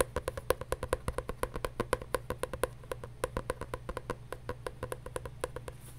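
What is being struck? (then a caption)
Paper journal. A paper journal is tapped quickly and unevenly, about two taps per second, giving short, dry knocks centered near 500 Hz with almost no ring. A steady low hum sits beneath the taps throughout.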